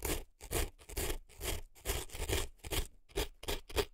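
An earpick scrapes hard at dry floral foam packed into a right silicone elf ear, with foam crumbs visible at the opening. Quick, somewhat irregular strokes of dry, crunchy scraping (about two per second) combine a soft low rub with a bright, gritty crackle. Each stroke stops dead, leaving short silent gaps between them.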